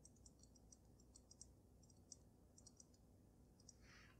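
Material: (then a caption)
Glass. Long nails tap rapidly on the sides of the glass dome of a water-filled dragon snow globe. Quiet, bright, sharp clicks die away almost instantly over a steady low rumble. A brief, brighter hiss swells near the end.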